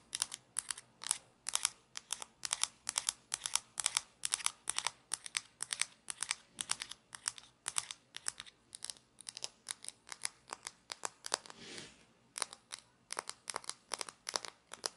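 Fingernails scratch and tap the body of a small hollow plastic toy shaker and flick its orange flip cap, making rapid bursts of crisp, bright clicks and scratchy rustles that stop dead with no ring. A longer, softer scraping rasp fills a brief gap near the end before the quick tapping resumes.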